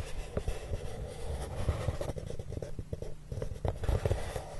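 Both hands slide short-nailed fingertips across the surface of a large, flat, brown corrugated cardboard box that sounds hollow. The result is a soft, continuous, low, dull rubbing, with brief louder swipes rising above the steady scraping throughout.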